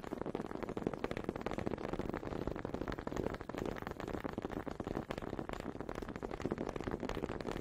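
Two small, solid wooden honey dippers with grooved heads are held in both hands with long red nails and knocked and rubbed together close to a microphone. The result is a steady, dense stream of quick, dry wooden clicks and rattles, centred in the low mids with little bright content. Each tap dies away almost instantly.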